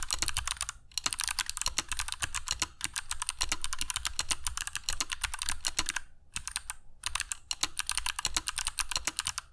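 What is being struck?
Mechanical keyboard with plastic keycaps.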